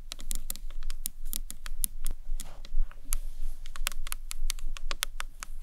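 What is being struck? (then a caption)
Small acrylic box clutch. Long nails tap a small, hollow green marbled acrylic box clutch, first along its top edge and then on its sides. The result is a quick, uneven run of short, bright, clicky taps, much like typing on a keyboard, over a steady low hum.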